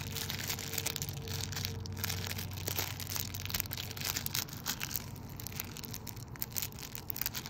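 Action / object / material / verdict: scrape / thin clear plastic bag / plastic / none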